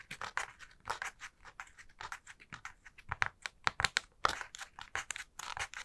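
Long nails scratch and flick along the pleated folds of a hollow, light honeycomb paper spider decoration: a purple, black and green pleated tissue-paper ball with black cardstock spider legs. The result is a quick, irregular series of short, dry, papery scratches and rustles with bright crinkly highs, almost no low end, and no lingering ring.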